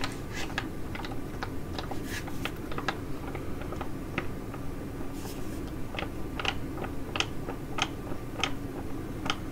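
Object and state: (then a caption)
Foil sheet mask pouch. Long nails tap and scratch a filled white foil-laminate sheet mask pouch while it is crinkled in the hands. Sharp, bright clicks and crackles come at an uneven pace over a steady low background noise.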